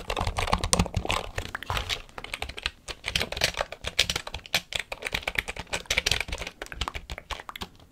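Fingers rapidly press and tap the keys of a full-size black plastic computer keyboard held at an angle near the mic. The result is a dense, fast stream of short, bright plastic clicks with soft low thumps beneath, each tap dying almost instantly.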